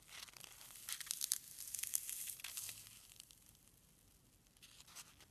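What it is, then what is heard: Foam packing peanut. A single small, solid white foam packing peanut is pinched and squished between fingertips and thumb, held above a pile of them. It makes dense, bright squeaky crinkles and creaks that are strongest in the first three seconds, fade to a faint hiss, then return briefly near the end.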